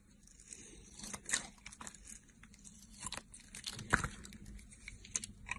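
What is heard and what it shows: A utility knife blade peels and shaves the teal outer layer off a solid soap bar with a purple glitter core, held in the hand. Crisp, irregular scraping and crunchy tearing sounds come in short bursts with bright edges, over quiet low background noise.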